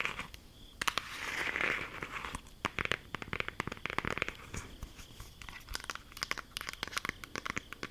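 A closed, flat, rectangular green cardboard eyeshadow palette case held in both hands is tapped and scratched with long acrylic nails. Dense, sharp clicks and bright crinkly scratching fill the clip, with a brief sustained hissy rub early on.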